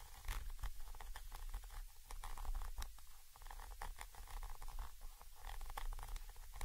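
A thin orange stick taps and scratches the side of a Zoom H5 XY microphone capsule, a small chrome metal body with mesh grilles. The result is a steady run of deep, muffled thumps and rumbles close to the mic, with quick bright scratchy ticks over the top.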